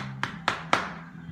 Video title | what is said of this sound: A short clip that explains bridging & penetrating damp on site | that's solid. Put that on about an hour ago. If I wanted, I could skim that now.